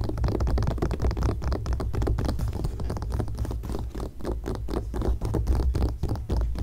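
Long painted nails scratch and tap across the coated paper page of an open glossy magazine lying flat on a grey blanket. The result is a steady, dense run of quick scratches and soft taps with a heavy low rumble underneath, and no pauses across the clip.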